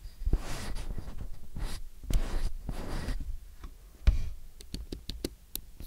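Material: Plastic, aluminium.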